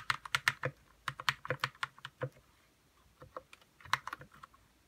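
Fingertips type on a white 60% RK61 mechanical keyboard with plastic keycaps and lubed red switches. Quick, short, bright clacks come in bursts with little low end and almost no ring. Typing slows to a near pause in the middle, then picks up again.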